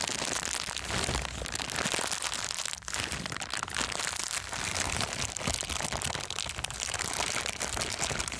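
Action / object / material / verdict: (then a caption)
scrape / thin clear plastic bag / plastic / none. A thin, empty, clear transparent plastic bag is crumpled and squeezed between palms and fingers. It makes a continuous, dense crinkling and crackling at steady loudness. The sound is mostly bright and high, with little low end and a brief dip partway through.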